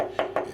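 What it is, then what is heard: Hollow-sounding partly drained hot water tank. Two taps on a hot water tank that has been drained by about half give a short, hollow ring centred near 650 Hz. The hollow sound shows the water level is below the outlet pipe and the upper part of the tank is empty.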